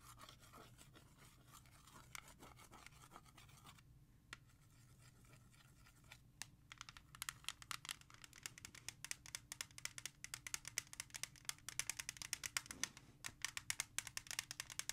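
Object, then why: Plastic CD jewel case. Long nails tap and trace over a single hollow plastic CD jewel case (Ja Rule), moving from its front to its edge and then its back. Soft, bright scratching gives way to a quieter stretch, then to quick, sharp clicking taps that grow denser and louder toward the end.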